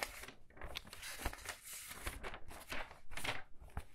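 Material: Paper.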